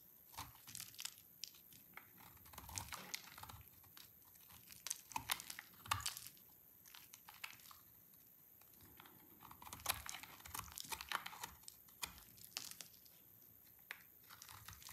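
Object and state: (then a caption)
Dry soap bar. A small yellow-handled knife scrapes and shaves strips from a solid orange bar of dried soap held in the fingertips. The result is a quiet, dense run of dry, bright crinkling scrapes and crisp crunching cuts, with short clusters of louder shaving strokes separated by softer stretches.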